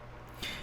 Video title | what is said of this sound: 보급형 필름카메라느낌의 디카 후지필름 X T200 리뷰 | 이런 텅텅 빈 소리가 나는 플라스틱 판